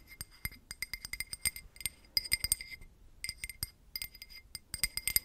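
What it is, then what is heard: Drinking glass tapped with nails. A drinking glass is tapped with paper clip nails in quick, irregular bursts, with a short pause partway through. Each tap gives a light, bright clink with a steady ringing tone near 2 kHz and higher partials that fade almost instantly.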